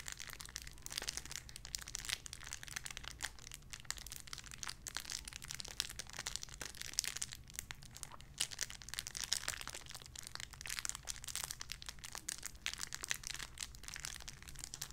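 A small clear plastic bag holding a pink paw squishy toy is crinkled with fingertips and long nails. It makes a continuous, dense, bright crackling and crinkling with rapid tiny snaps throughout, over a faint steady low hum.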